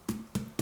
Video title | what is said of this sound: Quarantine Vlog #2 - Making music, bread and setting up a server | it sounds hollow which means that it should be okay